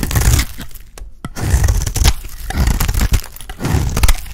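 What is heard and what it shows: A box-cutter blade scrapes an embossed oval bar of dry, solid pink soap. Repeated bursts of dry, crumbly scraping and crackling carry a strong low rumble under bright, crisp flecks. Brief sharp snaps sound as pieces break away, with short pauses between strokes.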